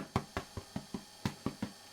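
A homemade bread loaf, fresh from the oven after about 30 minutes, is turned upside down and its bottom is tapped eight times. Each tap gives a short, dull, low hollow thud that dies away almost at once. The hollow sound shows the loaf is cooked, a nicely baked loaf.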